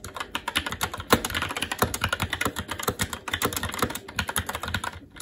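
Continuous fast typing with the fingertips of both hands on a SteelSeries Apex 7 TKL mechanical keyboard with plastic keycaps on a metal top plate and Red linear switches. It produces a dense, rapid stream of short, dry plastic clacks with a bright edge, each dying away almost instantly, with a few louder key strikes standing out. The typing trails off softer at the end.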